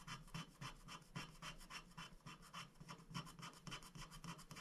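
A wooden stick scratches the black coating off a thin, flat paper scratch-art sticker sheet lying on a glass board, while a hand holds the sheet. About 21 short, quick strokes follow in a loose, steady rhythm over under five seconds, each a dry, bright rasp over a soft low thud. Each stroke ends quickly with no lingering ring.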